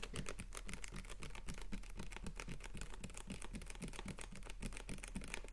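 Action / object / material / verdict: tap / capped plastic water bottle / plastic / none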